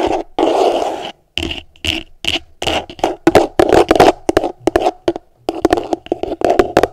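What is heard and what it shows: Long nails scratch and tap the bottom of an upside-down, empty, hollow translucent plastic tupperware container. A scratchy rasp gives way to quick, hollow plastic taps and short scrapes with a mid-pitched resonant tone. Each sound dies away almost at once between the brief pauses.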